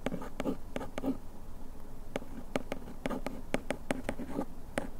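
A bamboo ear pick scratches over the printed text on the back of a small printed paperboard bandage box held in the hand. It makes quick, dry, scratchy strokes with short bright clicks over a soft, hollow papery body. The sound is quiet and close, and each stroke dies away almost at once.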